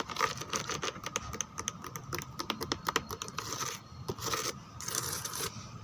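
Fingertips and long nails scratch and rub the textured back of a white molded plastic chair with embossed roses. Quick, crisp clicking taps mix with bright, dry scraping bursts that come and go in waves, with no ring after each contact.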